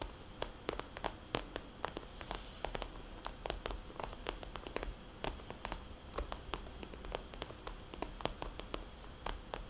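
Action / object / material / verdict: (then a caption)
tap / glossy plastic cosmetics bag / plastic / none. Long painted fingernails and fingertips of both hands tap and trace across a small red glossy plastic cosmetics bag with white polka dots, lying flat. Quick, crisp, bright clicks land in an irregular stream over a soft scratchy rustle and a low steady hiss. Each tap is short and dry, with almost no ring.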